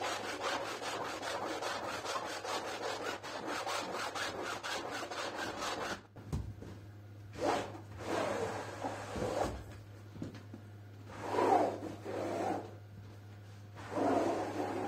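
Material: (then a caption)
Synthetic fibre. A push broom with stiff bristles repeatedly scrubs a wet, foamy, soaked printed synthetic rug on the floor. For the first six seconds there's a dense, rapid rasping of continuous strokes. It then breaks into separate, louder scrubbing bursts over a faint, steady low hum.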